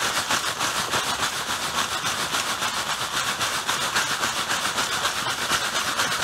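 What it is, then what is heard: Plastic bag filled with artificial snow. A clear plastic bag full of white artificial snow is held up in hand while fingertips squeeze and rub it. The result is a steady, bright crinkling and rustling of the plastic, with crisp textured hiss and no low end.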